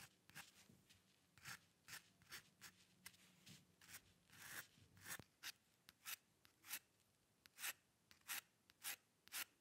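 A metal dip pen nib, held by the fingertips, is pressed and scratched across a thin, flat sheet of white drawing paper lying on a dark surface in repeated quick hair strokes. Each stroke makes a short, dry, bright scratch with almost no ring, separated by near silence. The strokes come in a steady, rapid series that grows slightly louder and more evenly spaced toward the end.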